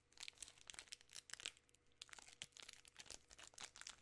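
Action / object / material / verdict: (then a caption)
scrape / plastic film candy bar wrapper / plastic film / none. A full, large 3 Musketeers bar in its sealed plastic film wrapper is squeezed and crinkled by fingertips and long nails. Quiet, bright crackling comes in quick bursts over about four seconds, with a brief lull near the two-second mark, and almost no low end.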